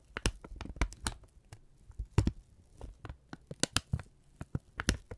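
A thin brown kraft paper strip is held in both hands, crumpled and folded with the fingertips. It gives quick, sharp crinkles and crackles in irregular bursts, with dry transients reaching high over a soft low rustle.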